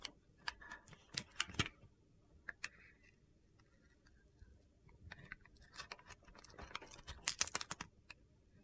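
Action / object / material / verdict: scrape / solid soap bar shaved with a knife blade / soap / none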